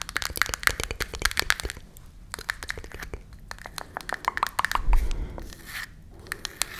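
Long nails tap and scratch the printed surface of a small closed cardboard matchbox held in both hands. Quick, sharp clicking taps come in dense bursts, with bright, dry scratching between them. The tapping eases into softer scratching in the middle, then a louder rubbing swell gives way to scattered taps at the end.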